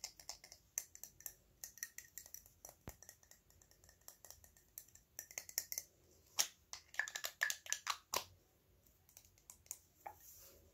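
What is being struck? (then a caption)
Small metal cylindrical bottle. A small silver metal cylindrical bottle or tube, possibly hollow, is held in both hands and tapped with fingertips and fingernails. The sound is a quiet, irregular stream of short, bright, high clicks that die away almost instantly, with almost no low end. The taps bunch into a busier, louder run in the second half.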